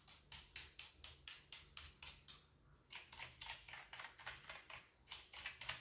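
A wooden-handled bristle brush sweeps and pokes between the keys of a full-size, hollow-bodied black plastic computer keyboard. It makes about 25 short, bright, hissy scratching strokes with a brief pause near the middle. The sound is quiet and dry, with almost no ring after each stroke.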